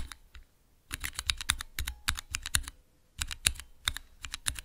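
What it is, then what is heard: Plastic key switch tester. Fingertips rapidly press the keys of a small clear plastic Cherry MX mechanical key switch tester. Three quick bursts of sharp, bright clacks with a low thud under each press are separated by short pauses.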